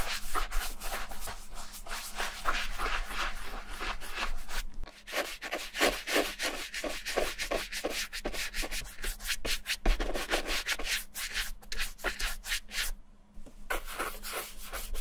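A small wooden-handled bristle brush scrubs cream over the toe and heel of a brown smooth leather Levi's vintage boot, which is hollow, empty and held in hand. Rapid back-and-forth strokes make a dry, bristly scratching with bright hiss and a low rumble underneath. The rhythm dips briefly between strokes.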